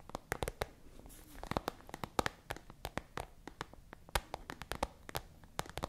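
Long acrylic nails tap and scratch a small, hollow, translucent frosted plastic pencil case with a pink pen inside, held close to the microphone. A rapid, irregular run of short, dry clicks and taps rises over a quiet scratchy rustle, each hit ending almost instantly.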